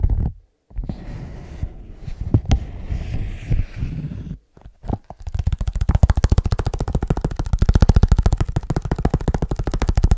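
Fingertips of both hands tap fast on the outer surface of a small, soft-sided black leather bag held upright close to the mic. The bag seems hollow. Irregular soft, low thumps and rustling give way after about five seconds to a rapid, steady stream of dull, deep taps that die away almost instantly.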